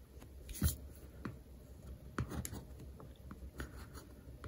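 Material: Paper, card.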